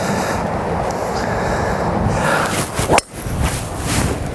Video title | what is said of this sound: Callaway Epic Sub Zero Driver | I like it that carbon dull sound off the face